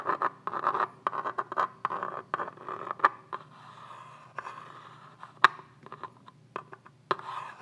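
A pen-like pointed tool is drawn across the ribbed side of a hand-sized tan polymer rifle magazine with a hollow body, held in one hand. It makes a series of short, irregular scratching strokes on the hard plastic, each a dry, quick-fading rasp centered in the midrange around 1 kHz with brief bright edges and almost no low end.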